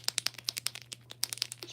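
An acrylic paint pen is shaken to mix the paint, and the mixing ball inside rattles in 13 quick, bright, dry clicks with almost no ring. A faint steady low hum runs underneath.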